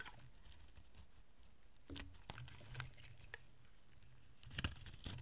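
A solid oval bar of dry green soap held in the hand is carved and scraped with a metal utility blade. Soft, continuous crumbly scraping and pattering is heard over a low rumble, broken by short, crisp clicks and flakes breaking off with bright edges.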